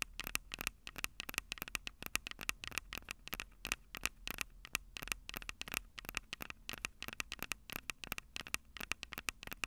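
Long purple nails on both hands tap and scratch the two small metal-mesh condenser capsules on top of a black plastic Tascam DR-05 handheld recorder, the same recorder capturing the sound. The result is a fast, continuous stream of sharp, dry clicks and crackly scratches, bright and thin with a steady tone near 2.7 kHz and almost no low end. Each tap stops dead with no ring.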